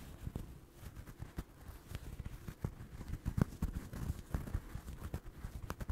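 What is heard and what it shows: Fingertips and nails scratch and tap the yarn surface of a small, soft, stuffed orange crocheted doll held in front of a microphone. The result is a quiet stream of dull, low, muffled taps and soft scratchy rustling with no ring.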